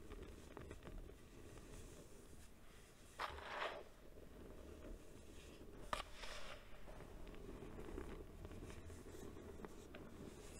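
Cupped hands lift, press and crush mounds of white baking soda powder in a bowl, letting it crumble through the fingers. Quiet, soft crunching and faint scratchy rustling run throughout over a low background rumble. Two louder, brighter crunching bursts stand out, one longer and one sharper and shorter.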